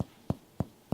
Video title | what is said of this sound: Pulmonary Exam for Medical Students | the hollow sound and feel when we tap on an air filled chest is called resonance